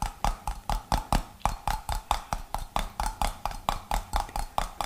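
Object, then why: Glass jar with metal screw lid. Fingernails tap the gold metal screw lid top and the glass body of a medium-size, mostly empty clear glass jar. Twenty-two short, bright clicks follow in a quick, slightly uneven rhythm, each with a brief ring and a faint tonal ping.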